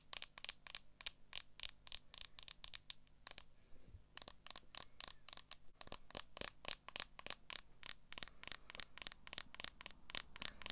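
Long acrylic nails tap and scratch across the back of a clear plastic case on a smartphone held up in the air. A quick run of sharp, bright, dry clicks and scrapes with almost no ring, pausing briefly partway through before the tapping resumes at a steady pace.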